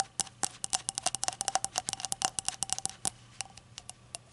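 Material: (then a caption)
Ceramic. A small hollow rainbow-glazed ceramic shot glass is handled and tapped with long acrylic nails over a towel. The result is a rapid, irregular run of sharp, bright clicking taps with a faint ceramic tone around 760 Hz that dies away almost instantly, with a quiet hum underneath.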